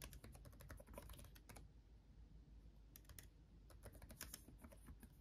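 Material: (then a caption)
Plastic. Fingertips of both hands type on a backlit laptop keyboard with plastic chiclet keys, producing quick, bright, clicky taps over a steady low hum. The typing comes in rapid bursts, pauses briefly around the middle, then picks back up in a denser flurry.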